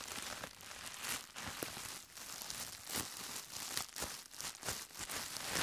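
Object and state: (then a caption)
Plastic bubble wrap being crumpled and popped. A larger sheet of clear plastic bubble wrap is bunched in both hands, crinkled and squeezed with the fingertips, popping the air bubbles. The result is a continuous bright, dry crinkle, broken by sharp, short pops and crackles with very little low end.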